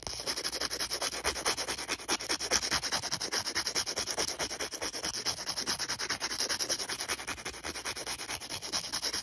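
Fingers rub and scratch back and forth across the gritty surface of a thin, solid, star-print emery board nail file. The result is a steady, rhythmic sanding sound, a bright, dry hiss with almost no low end, and each quick stroke fades almost instantly.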